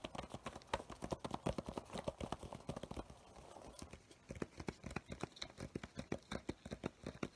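Fingertips and nails of both hands tap rapidly on the paper cover and page edges of a medium spiral-bound paper sketchbook with coloured tabs, a solid stack of pages held upright with a crayon drawing facing out. The taps are short, dry and hollow-sounding, in an uneven clip-clop rhythm with a softer stretch midway before the sharper tapping resumes.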